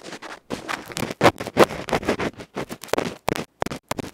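A bamboo ear pick scratches the felt face of a small metal electret microphone capsule, giving rough, scraping bursts with short gaps between them. The strokes come in an uneven rhythm, with a few sharper, louder scrapes. The sound is mostly midrange with a little bright hiss.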